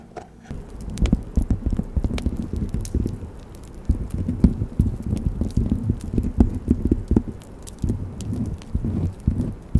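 A thin, solid, flat cut-out wooden Christmas ornament shaped like a snow globe with a bell and bow and coated in gold and silver glitter is held against a fluffy microphone cover and scratched and tapped with long red nails. The result is a dense, irregular stream of soft, muffled, low-heavy taps and rustling scratches that die away almost instantly, with brief quieter lulls between bursts.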